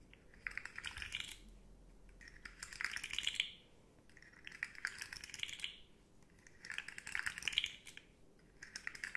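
Long nails tap quickly along the hollow segments of a rainbow, segmented hard plastic slug fidget toy held upright. The result is dry, bright, clicky tapping that comes in about four rolling bursts separated by short quieter pauses, with each tick dying away almost instantly.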